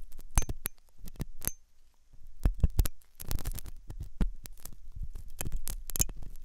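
A metal dental pick scrapes inside the hollow ear canal of a white, soft silicone ear on a binaural microphone. Close, crackling scratches and sharp clicks come in irregular bursts, with a deep low rumble underneath and a brief quiet gap in the middle.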